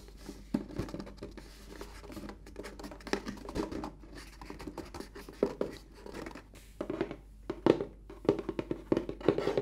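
Fingertips with short painted nails rub and scratch across the flat lid of a large, closed, white rigid cardboard gift box lying beside the microphone. The result is a dense run of dry scratching and soft tapping strokes, mostly in the low-mid range with little bass or brightness. It grows louder and more clustered toward the end.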